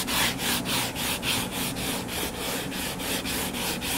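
Short fingernails scratch the cover of a closed hardcover paper book lying flat and solid. The result is a rapid, steady back-and-forth rasping with a bright, hissy texture and a faint low hum underneath.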